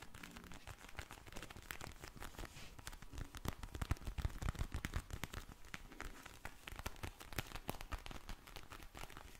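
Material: Vinyl plastic.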